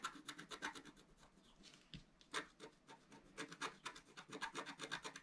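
A pointed wooden stylus held in the fingers scratches across a flat, A4-sized black-coated scratch-art sheet over rainbow foil lying on a table. Quick, dry rasping strokes come in bursts, with bright, papery scrapes and short pauses between them.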